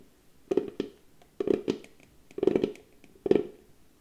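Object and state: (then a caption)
Small round wooden box. A small, hollow, cylindrical box of pale wood is held in both hands while its flat lid is tapped and scratched with long painted nails and fingertips. Four separate clusters of quick, dull, hollow taps sound at a mid pitch, with a faint scratchy edge. Each tap dies away almost at once, and the clusters come at an uneven pace with quiet gaps between them.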